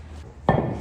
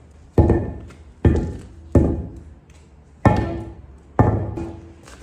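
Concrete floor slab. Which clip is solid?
The first.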